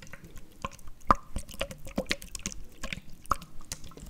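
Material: Plastic.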